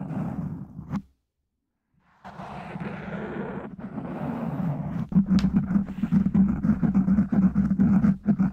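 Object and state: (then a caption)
Foam microphone windscreen. Fingertips of one hand tap and scratch the top of a black foam windscreen on a microphone from above. Dense, muffled scratching rumbles low and boomy, drops out for about a second, then resumes and turns into quick, uneven tapping with heavy low thumps.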